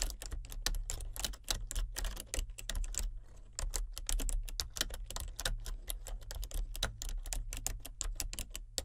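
Fingertips and nails type continuously on a full-size plastic computer keyboard with color-changing backlit keys. The result is a fast, steady stream of short, bright plastic clicks and taps, with a brief lull around the three-second mark. A constant low hum sits underneath.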